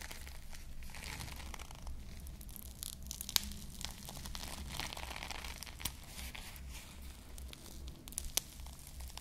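Long nails scratch the plastic bead sprinkles on a small foam squishy ice cream bar held close to the mic, while fingers squeeze the foam. It makes a steady crinkly, tearing-like scratching full of bright crackles, with a few sharper clicks and a low rumble underneath.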